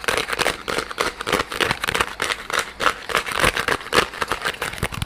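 A small, soft yellow rubber squishy pineapple toy is held in front of the microphone and squeezed and scratched with fingers. It gives a rapid, uneven run of close, crinkly rubbery scratches and squeaks. Each brief bright burst dies away almost at once.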